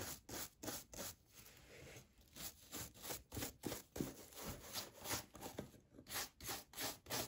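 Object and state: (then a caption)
Brush strokes on a leather shoe. A small wooden brush with light bristles is rubbed back and forth across the toe and side of a brown leather brogue derby shoe with a rubber sole, fitted with a hollow wooden shoe tree. About fourteen quick, bristly brushing strokes come at a steady but slightly uneven pace, each a bright, scratchy swish that stops short with no ring.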